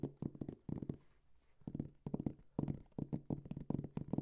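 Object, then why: Fabric-covered hard-shell headphone case. Fingertips and nails tap and scratch a round, medium-size, dark gray hard-shell headphone case covered in fabric, held hollow in both hands. Quick bursts of soft, dull, low taps come in clusters, with brief quiet gaps between them.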